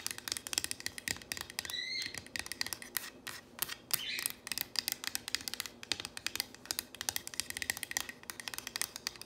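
Long nails and fingertips quickly tap and scratch across the surface of a solid painted wooden plank sign reading "If MaMa ain't happy." The result is a rapid stream of sharp, bright clicks and scrapes with almost no low end, broken by a couple of brief high squeaky sweeps near the two- and four-second marks.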